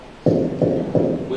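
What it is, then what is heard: Mobile phone knocked on its edge. A mobile phone is knocked three times on one side of its edge, each tap a dull, hollow low-mid knock that fades within about a fifth of a second. The taps are tried as the first spot on the phone, to show how striking different points gives different sounds.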